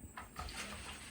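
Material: Steel.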